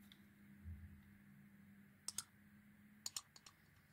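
A small metal knife blade carves a solid oval pale green soap bar with a green glitter inlay, held in hand, peeling thin curling shavings off its surface. Short, bright, crisp ticks and scrapes come in quick pairs over a quiet, low, steady hum.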